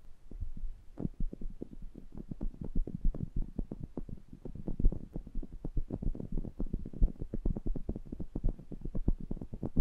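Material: Metal mesh.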